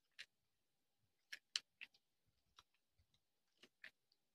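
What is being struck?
Bar of soap cut with a small knife.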